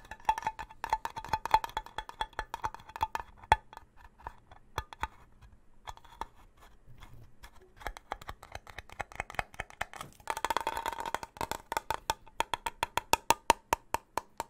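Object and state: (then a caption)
Steel food can. A small, sealed red-and-white labelled steel soup can, presumably full, is held in both hands close to the mic and tapped with fingertips and nails. A long run of quick, dry clicks and taps sounds throughout, each carrying a faint metallic ping near 900 Hz that dies away almost instantly. Around the eleven-second mark, a denser, scratchier flurry of tapping breaks out before the taps thin out again.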